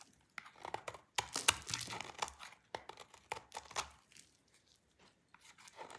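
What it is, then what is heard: Dry soap bar scraped with a blade. A yellow-handled utility knife blade shaves and scrapes curls off the edge of a small, solid, dry pink soap bar held in one hand with painted nails, and the shavings pile up below. The sound is a quiet, irregular run of crisp, dry, bright scraping and crackling strokes, with a few louder cuts near the start.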